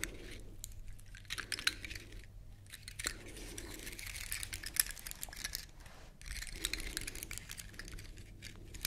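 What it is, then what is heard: Dry pine cone, scratched. Long nails scratch along the woody scales of a large, elongated, dry brown pine cone held close to the mic. The result is dense, bright, crackly rasping in uneven strokes with short pauses between passes, over a faint steady low hum.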